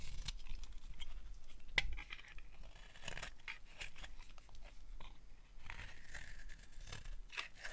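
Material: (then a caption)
Soap. A utility knife blade carves strips from a solid, dry, dark green bar of soap held in an open palm. Crisp, crunchy scraping and shaving sounds repeat throughout, with brief bright crackles over a quiet low rumble.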